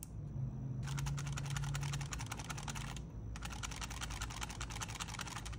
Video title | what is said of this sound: KTR1 Review: The First Customizable Handheld | these were pretty loose buttons too in fact they rattled quite a lot